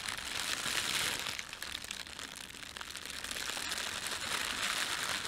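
An empty, thin red printed plastic bread bag is rubbed and crinkled with flat hands and fingertips. The result is a steady, bright crackling rustle that dips slightly midway, then swells again.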